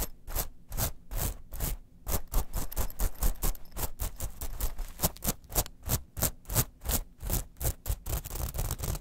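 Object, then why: Metal mesh clutch pouch. Long nails quickly scratch and rub a small gold, silver and black metal mesh clutch pouch lying flat. Rapid, dry rasping strokes follow one another in a steady stream, each a short bright scratchy burst over soft low thuds, with no ringing after.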